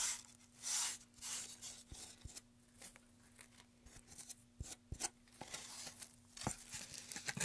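Gloved hands rub sandpaper along a long, solid, light-wood carved pine tray with a groove, surrounded by wood shavings. Bright, scratchy rasping strokes come in irregular bursts, broken by short, sharp clicks and taps. A faint, steady low hum runs underneath.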